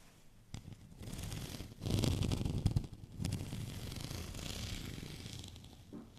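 Fingernails scratch over the bumpy surface of a white studded plastic rolling pin held at an angle. The scratching comes as rough, rasping strokes with a low, bumpy rumble beneath them. It swells into a louder burst around the two-to-three-second mark, then settles into a steadier, softer scrape.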